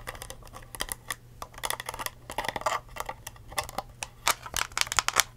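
A clear, ridged plastic cup with a blue lid and curly straw, held upright, hollow and empty, is tapped with long acrylic nails. Quick, bright, clicky taps come in irregular bursts and die away almost instantly. A faint steady low hum runs underneath.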